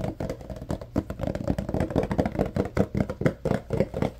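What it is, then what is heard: Cardboard box tapped and scratched. Fingertips and nails tap and scratch a tall rectangular yellow Arm & Hammer carpet deodorizer paperboard box, likely filled with powder. A quick, uneven run of dull, hollow cardboard taps with low body is mixed with soft scraping, each tap dying away almost at once.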